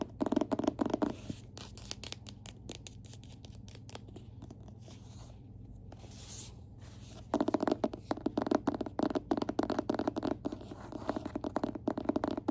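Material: Cardboard.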